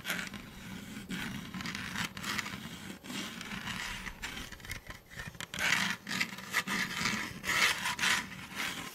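Fingertips rub and scratch over the textured side of a hollow blue and orange plastic Nerf toy blaster held upright. The result is a steady, bright, papery scraping with uneven swells and short louder bursts, concentrated around 2 kHz with little low end.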